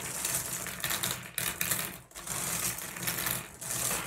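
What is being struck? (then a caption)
Small glass gem pebbles. Fingers grab a handful of small, solid blue glass gem pebbles and pour them from one hand into the other over the pile. The result is a steady, bright clinking and rattling cascade that briefly thins out and then resumes.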